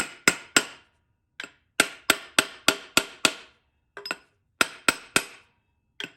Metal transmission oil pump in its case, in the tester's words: once you kind of hear that flatter tone you know the pump's fully seated